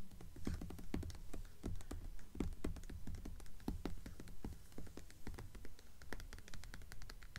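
Long acrylic nails of both hands rapidly tap, like typing, on the cover of a blue hardcover book with a paper dust jacket lying flat on a table. The result is a quiet, fast, uneven patter of crisp clicks over soft, low, hollow thuds.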